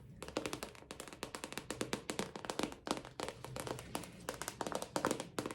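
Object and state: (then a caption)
Plastic purse. Fingertips tap quickly in bursts on a recently bought plastic purse with a small sticker on it. The taps are light, crisp and hollow-sounding, with a mid-pitched tone near 500 Hz, bright clicky edges and a very short ring. The result is a steady, rapid patter of soft plastic knocks with brief pauses between runs.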